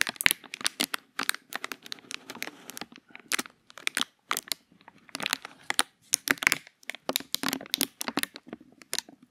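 A small, thin, empty, hollow clear plastic bag is held in both hands close to the microphone while fingertips crinkle and squeeze it. The result is a dense run of sharp, bright crackles and crinkles in quick, irregular bursts with tiny pauses between them. There is almost no low end.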